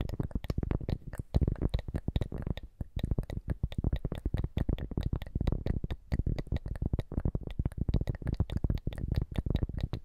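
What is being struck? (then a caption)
Cork coaster. A round, flat, thin and solid cork coaster is held upright in one hand and tapped and scratched with the long manicured fingernails of the other hand. Rapid, dull, low-pitched taps fall in a dense, uneven stream. Each is very short with almost no ring, mixed with soft scratching.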